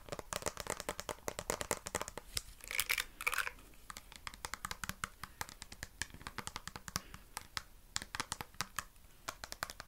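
Long nails tap and scratch the slotted plastic back and sides of a black plastic vented detangling brush. Rapid, crisp, bright clicks run throughout, with a brief rougher scratching burst near the three-second mark. The taps are dry and short, with almost no ring.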